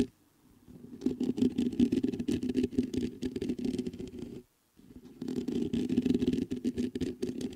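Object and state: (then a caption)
Metal microphone grille being scratched. Fingertips scratch the top and sides of the mesh grille on a black metal USB condenser microphone. A dense, rapid scratching and rustling builds after a quiet start, drops out briefly to silence near the middle, then resumes just as busily to the end.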